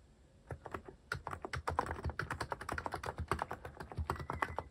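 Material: Plastic.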